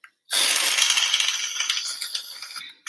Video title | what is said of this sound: Live Workshop - Shaving Foam | here i can hear it when i shake it